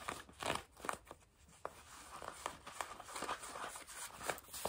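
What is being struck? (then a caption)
Denim jeans fabric. Long nails scratch grey-blue denim fabric stretched over a knee, making quiet, dry rasping strokes. The strokes come in uneven bursts with a bright, papery texture and almost no low end.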